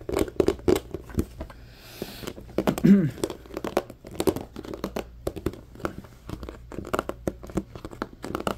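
An empty, hollow, medium-sized transparent plastic compartment organizer box is handled and rubbed with fingertips and nails. Dense, quiet clicks, taps and crinkly scratches follow one another, with one brief low squeak partway through.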